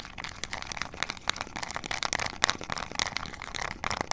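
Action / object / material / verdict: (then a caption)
tap / small plastic remote control with rubber buttons / plastic / none. Long acrylic nails rapidly tap and scratch the rubber buttons and hollow casing of a small, flat plastic IR remote control for LED lights. The result is a dense run of dry, bright clicks and scratchy crinkles with almost no ring and very little low end.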